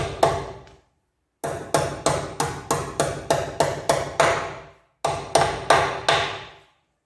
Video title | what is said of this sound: Nissan Leaf EM57 Electric Motor Divorced Output Coupler Fitting Video | as you can hear they're bottomed out